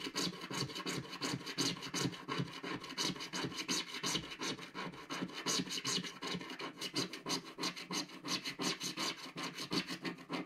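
A wooden stick scratches the black coating at the upper right corner of a flat, solid scratch-art card page. Quick, fairly steady back-and-forth strokes give a dry, bright, raspy scratching with little low end, each stroke stopping short with no ring.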